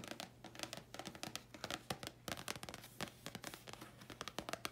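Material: Cardboard.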